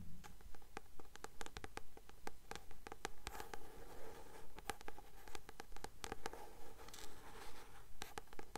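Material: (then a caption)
Card. Long nails tap and scratch quickly on the card cover of a blue paperback book held upright. The soft, dry clicks come in a steady rhythm of about two per second, mixed with light scraping over a faint low hiss, and each tap dies away almost at once.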